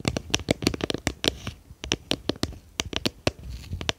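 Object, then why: Small plastic tub with lid. Long painted fingernails tap and scratch a small, round, clear plastic tub with a lid, hollow and apparently empty, held in both hands behind the microphone. A quick, irregular run of sharp, bright plastic clicks dies away almost instantly, with soft scratchy rustles between the taps.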